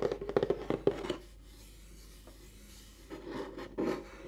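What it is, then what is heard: Cardboard box lid being scratched. Fingertips with short painted nails rub and scratch across the flat lid of a large, closed white rigid cardboard gift box lying beside a microphone. A quick run of dry, papery scratches opens the clip, followed by near silence for about two seconds before softer rubbing strokes resume.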